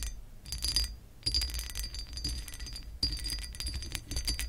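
Long acrylic nails scratch with both hands across the ridged, raised scale pattern of a pressed glass lamp base. Bursts of bright, crackling scrapes come and go, with a thin high ringing tone running through them over a low background rumble.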